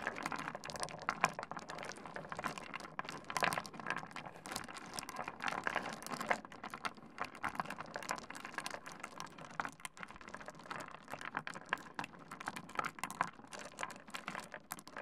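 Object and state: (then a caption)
Pile of small stone pebbles. Fingertips of both hands scratch, stir and clack a pile of small solid stone pebbles spread on a wooden desk. A dense, steady stream of quick, dry clicks and gritty rattles runs for the full fifteen seconds, with almost no low end and a bright upper edge. Every click dies away almost instantly.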